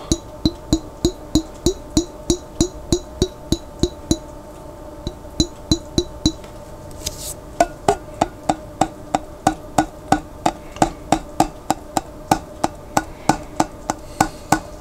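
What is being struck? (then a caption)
Glass jar with plastic lid, part filled with water. Fingertips tap the white plastic lid of a large clear glass Vlasic pickle jar that is partly filled with water and held on its side. About 44 quick, short, woody knocks with a faint hollow ring come at a steady pace, with a brief pause near the middle. A soft swish follows, and the tapping resumes with a slightly brighter tone.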